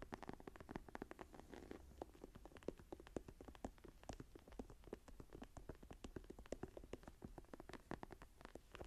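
Long nails scratch and tap quickly across the textured cover of a closed brown tree-embossed faux leather journal lying flat. The result is a quiet, dense stream of short, dry taps and soft scratching with no ring, sitting mostly in the low and middle range.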